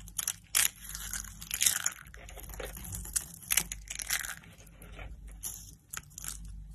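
Blue-and-white striped dry soap curls and their broken shards are crushed between the fingers, giving dense, bright, dry crunches and crackles. Then the pile of shards is gathered and scooped by hand, adding softer rustling crinkles.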